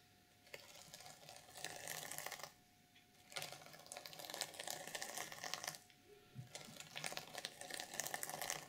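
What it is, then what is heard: Sequin fabric journal cover. Long nails scratch and drag across the sequins of a reversible sequin fabric journal cover on a black notebook lying flat. Bright, crackly, rustling scrapes come in three sustained bursts, separated by two short quiet pauses in which a faint steady tone remains.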